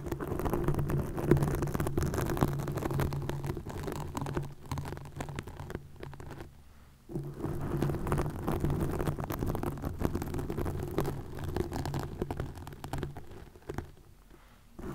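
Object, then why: Plastic mesh net. Long nails scratch and pull at a green plastic mesh net stretched over a microphone. The result is a dense, close, bassy rustling and scraping with a low hum-like tone, which dips briefly to near silence around the middle before resuming and fading toward the end.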